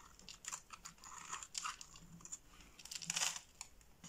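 A box-cutter blade slices thin flakes from the scored surface of a solid green soap bar held in the palm. It makes a quiet run of crisp, crunchy cutting scrapes, bright and airy with almost no low end. Each cut stops short with no ring.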